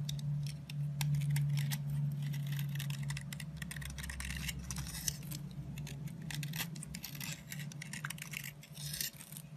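A metal blade scrapes repeatedly along a solid orange soap stick held in the hand, carving off crumbly shavings. Quick, bright, dry scratching strokes come in a loose rhythm over a steady low hum.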